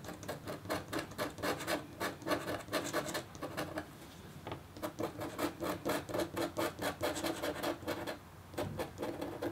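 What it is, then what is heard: Copper scratch art board. The metal nib of a red scratch stylus scrapes a flat, black-coated copper-foil scratch board, about A4, thin and solid and resting on a table. It makes a steady run of quick, short, rasping scratch strokes, with brief pauses near four and eight seconds.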